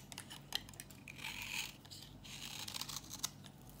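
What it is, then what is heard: Dry bar soap. A solid, dry yellow bar of soap, thinning and held in the hand, is scraped with a metal box-cutter blade into crunchy flakes. Quick, bright, crisp scraping and crackling strokes rise and fall against a low steady hum, with a few sharper ticks standing out. The sound is dry and close, with almost no ring after each stroke.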